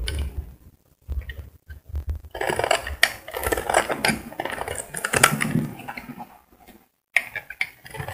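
A solid cream bar of soap, held in the hand, is shaved along its edge with a metal utility blade, scraping off curls. The sound is a run of dry, crackly scraping strokes with bright, gritty texture and very short decay, broken by brief quiet pauses between passes.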